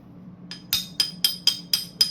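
A steel knife blank, bought already hardened but not yet tempered for stock removal, is struck seven times, with the first tap faint. Each strike gives a short, high, glass-like ring, a brighter tone than a tempered blade gives.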